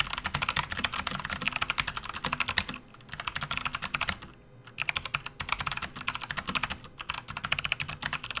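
Fingertips of both hands type rapidly on a full-size plastic backlit RGB computer keyboard resting on a desk mat. Dense, bright, clicky key strikes with very short decay run in fast bursts, with two brief pauses near 3 and 4.5 seconds.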